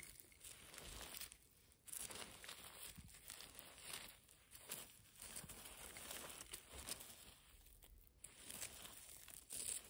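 Long nails scratch and rake across the loose surface of a pile of dusty, fine grey rubble and small broken concrete pieces. Bright, gritty crunching and crinkling swells and fades in repeated strokes, with short quiet gaps between them.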